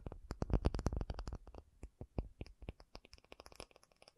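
An acrylic object is tapped in a rapid, irregular series of short, dry taps, each a dull low thud with a faint bright click on top. The taps come fast and loud at first, then thin out and grow softer and more spaced toward the end, with no ringing after each hit.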